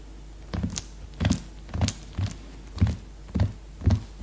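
Fingertips and long nails drum on the cellophane-wrapped cover of a plastic-sealed hardcover notebook lying flat. Soft, low, dull thunks come in short clustered bursts about every half second, each with a brief bright crinkly click from the wrapping. The taps die away quickly between bursts.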